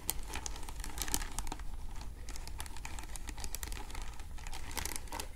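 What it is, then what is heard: Beaded bag scratched and tapped with nails. A small vintage clutch bag woven from translucent faceted glass or acrylic beads in pink, clear, green, orange and grey in a flower pattern is held up hollow in both hands. Long acrylic nails scratch and tap across the beads. The result is a steady stream of quick, dry, crinkly clicks and bright scratching over a low rumble.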